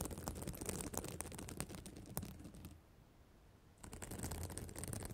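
Long black acrylic nails scratch and flip the small plastic reversible sequins on the flat fabric cover of a spiral notebook, sequins in an emoji pattern, around a microphone resting on the cover. Dense, rapid clicks and scratchy rustling with bright sparkle and a low rumbling body fill the clip, pausing into near silence for about a second before resuming.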